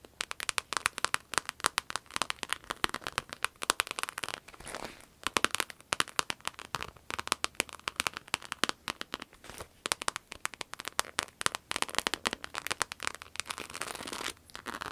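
A red, glossy croc-embossed vinyl wallet is held upright and tapped and scratched with long acrylic nails. It makes rapid, dense, crisp clicks and crinkly scratching, bright and thin with almost no low end. The taps are short with no ring, and brief scratchy stretches break up the steady patter.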